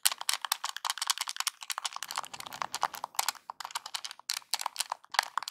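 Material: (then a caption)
Plastic. Fingertips and nails press and tap the buttons of a small, hollow, NES-style Nintendo plastic game controller. The result is a quick, irregular run of about thirty short, bright plastic clicks and taps with almost no ring. A faint low rumble sits under the middle of the run.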